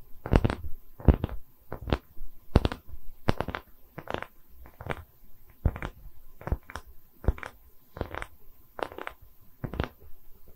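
A solid wooden tree-slice coaster with bark is tapped on its top with fingernails, then held face-on close to the mic in both hands and scratched. Short, dry, irregular knocks with a heavy low thump and a bright click fade almost instantly, with quiet scratchy rustling between them.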